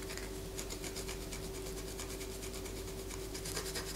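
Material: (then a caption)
Soap. A palm-sized solid white bar of soap is held in the hand and scratched with long fingernails, with shavings falling onto a paper poster. Quick, repeated bright rasping strokes continue throughout over a steady low hum. The scratching stays at an even, quiet level.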